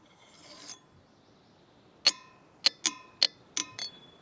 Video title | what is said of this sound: The Ringing Rocks Situation is Crazy | these boulders are natural lithophones. Rocks that ring like bells when struck.